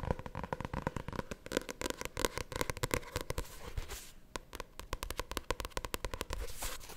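A small paperback novel with a glossy paper cover is held in both hands and tapped and scratched on the cover with long painted nails. The result is a rapid, uneven run of sharp, dry clicks and crisp scratching with a low papery thump and a hollow tone around 490 Hz, plus brief bright swishes of nails sliding across the glossy cover.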